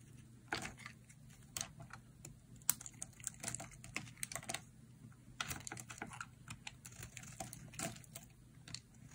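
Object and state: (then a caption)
Dry bar soap being carved. A hand-sized solid block of dry yellow bar soap, held in hands with long nails, is carved with a metal utility blade into crumbly slices. Short, dry, bright scraping cuts and crumbling crackles come in an irregular run of quick strokes. A faint steady low hum sits underneath.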